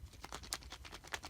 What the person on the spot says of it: it's hollow it's still not exactly all the way hollow but it's still hollow